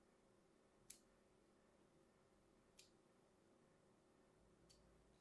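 A thin metal blade scores diagonally across a held, solid, hand-sized light green bar of soap in a scratching, cutting motion. Three short, bright, crisp scrapes sound at roughly even intervals, each fading almost at once over a quiet, steady low background hum.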